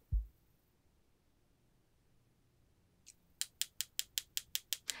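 A gray gel layer on a nail enhancement, cured under a lamp for about 60 seconds, is tapped about ten times in quick succession, giving sharp, bright, hard clicks with almost no ring. The hard tapping shows the gel is fully cured even though a sticky layer remains on top. A brief low thump is heard at the start, before the taps.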